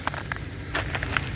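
A solid, hard layer of ice left on the ground by freezing rain is knocked on or stepped on, giving several short, sharp, glassy clicks with bright tones around 1.5 kHz that die away almost at once. A steady low rumble runs underneath, and the crust sounds like glass, showing it is a hard, solid sheet of ice.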